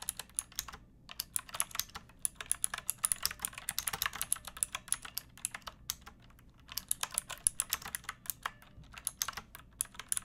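Long nails and fingertips type on a backlit pink mechanical keyboard with round plastic keycaps and a hollow plastic case. Bright, sharp clicks and clacks come in quick bursts with a few short pauses. Each keystroke dies away almost instantly.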